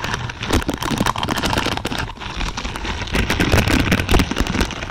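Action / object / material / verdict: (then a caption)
scrape / plastic spiky bristle pad / plastic / none. Long purple nails scratch across a large lavender pad of thin, flexible plastic or silicone pins. The result is a dense, continuous crackle of rapid ticks and flicks, bright on top with a soft low rumble underneath, swelling and easing in uneven bursts.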